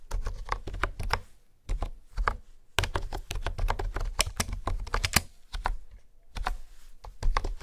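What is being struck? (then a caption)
Plastic computer keyboard. Fingertips type and tap on a pink plastic honeycomb keyboard with hexagonal keys. Quick runs of short, dry, deep-toned clacks come with a few brief pauses, each keystroke stopping almost at once.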